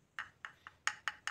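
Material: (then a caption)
Plastic. A screwdriver taps the reflector of an ICC Matrix X1 bi-LED projector headlight six times, each a short, dull, high-pitched click that dies away almost at once. The muted, non-ringing tone shows the reflector is plastic rather than aluminium.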